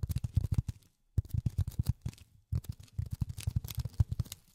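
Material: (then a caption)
Polyethylene foam. Polyethylene foam is tapped rapidly with silicone rubber finger pads, producing soft, dull, low thuds that stop instantly with no ring. The taps come in three quick bursts separated by brief pauses.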